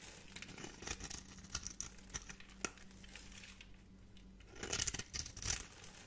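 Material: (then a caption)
Soap. A metal blade scrapes crunchy little cubes off the surface of a solid, dry purple soap bar held in a hand with long painted nails. Crisp, bright crackling and sharp ticks are heard over a faint steady low hum, with a louder burst of crunching near the end. Each crunch is dry and stops almost instantly, with no ring.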